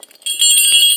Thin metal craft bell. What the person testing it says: A tinny bell won't matter how you ring it because it's not a real sleigh bell. And it's made in a different method, and it's thinner.